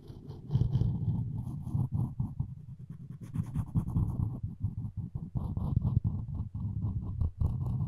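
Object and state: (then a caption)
Wooden spoon handle scraped with floss. Floss string is sawed back and forth across the edge of a solid wooden spoon handle. The result is a dense, low, rasping scrape made of many quick strokes, with faint bright hiss flickering above.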